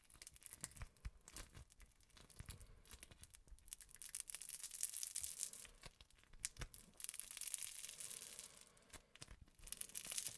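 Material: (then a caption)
Slime. A handful of green and yellow crunchy slime packed with small foam beads, soft and solid, is squeezed, pulled and kneaded between bare fingertips close up. Dense, bright crackling and popping comes in waves, with soft low squelches underneath and brief quiet gaps between squeezes.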